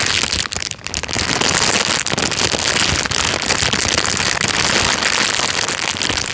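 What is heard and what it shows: An empty, thin, clear plastic bag is crinkled and squeezed by hand, making a dense, continuous crackling rustle. The sound is bright and hissy with little low end, and stays steadily loud throughout apart from a brief dip near the start.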